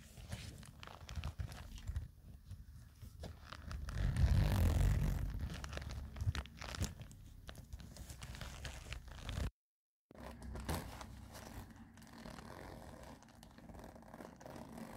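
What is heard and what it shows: Long nails scratch and rub the side of a soft, hollow black woven nylon/polyester cosmetic pouch with a side handle, making dense crinkly, scraping fabric sounds. The rubbing swells louder and fuller around the fourth to fifth second, then stops briefly just before the tenth second. It resumes as softer, steady scratching to the end.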